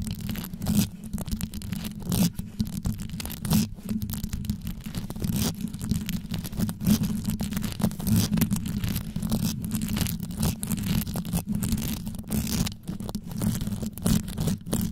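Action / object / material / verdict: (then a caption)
scrape / rhinestone-covered microphone top / rhinestones / none. Long yellow nail tips tap and scratch straight down on the stones atop a rhinestone-covered microphone. A fast, continuous run of dense scratchy clicks and taps sits over a deep, boomy low rumble, with sharp broadband ticks punctuating it throughout.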